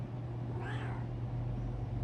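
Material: Nothing is struck.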